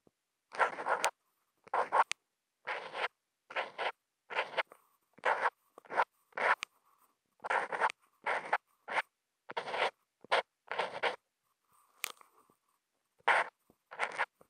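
A black plastic Posca paint-marker nib, held in the fingers, draws short hatch lines on a flat sheet of thick white Kent paper, picked up by a contact mic attached to the marker. Dry, scratchy strokes come in quick, separate bursts with short pauses between them, each centred in the midrange around 1 kHz with a bright hiss on top. Each stroke stops dead with no ring.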